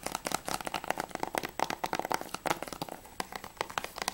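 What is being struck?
Hard plastic game case.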